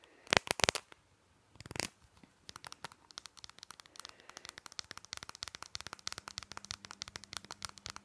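Fingernails tap and scratch the cap and green label of a small, hollow plastic nasal spray bottle. A few loud, crinkly scratching bursts come first, then a long run of quick, sharp, bright taps that keep going to the end.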